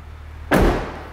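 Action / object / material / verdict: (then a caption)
strike / car door and latch, metal / metal / solid. The rear door of a 2005 Honda Element is shut once after its loose metal latch screws were tightened with an impact driver and blue threadlocker. A single solid, low thud lands about halfway through, with a short decay over a steady low background hum. The slam sounds solid and the door hardly moves.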